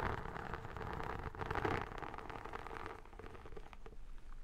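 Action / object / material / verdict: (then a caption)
scrape / textured vinyl album cover / vinyl / none. Long nails and fingertips scratch and tap the textured vinyl surface of an iridescent photo album held upright. A dense, crackly scratching with quick taps runs throughout, swelling slightly around the middle and growing a little softer toward the end.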